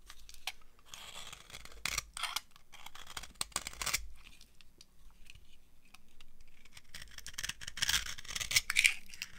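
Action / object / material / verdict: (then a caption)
scrape / bar of soap carved with a metal knife / soap / none. A metal knife carves an old, dry, beige solid soap bar held in the palm, peeling off shavings. The result is a steady stream of irregular, dry, crunchy scraping and crackling strokes that are bright and high-pitched. A few sharper, louder cuts stand out near the start and toward the end.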